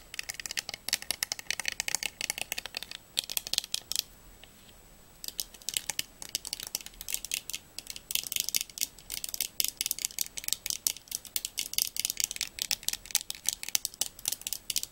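Long nails and fingertips tap and fiddle along the thin gold metal rims and bridge of a pair of round eyeglasses held up in both hands. The result is a fast, dense stream of tiny, bright, clicky ticks with almost no low end and no ring. The tapping pauses for about a second around the four-second mark, then resumes just as quickly.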